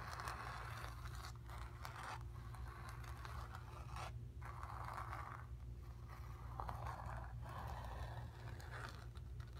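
Long nails scratch and tap across the surface of a stretched, painted cotton canvas. Soft, papery scraping strokes centered around 1 kHz come in repeated bursts with brief pauses between them, over a steady low hum. The whole clip stays quiet and close.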